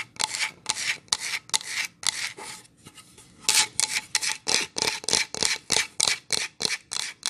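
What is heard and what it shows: Long nails and fingertips rub and scratch the surface of a solid pine plank sign held upright. About 19 bright, hissy scraping strokes are heard, with a softer, quieter stretch in the middle before the strokes resume quicker and louder.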